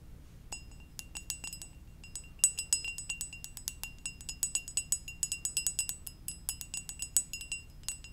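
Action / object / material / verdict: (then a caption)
tap / glazed ceramic mug / ceramic / none. Long dark nails tap the glazed surface of a hollow red and white ceramic mug shaped like a Poke Ball, held in one hand. Many quick, bright clinks ring with a high glassy tone and die away almost instantly, some taps landing harder than others, over a faint low background hum.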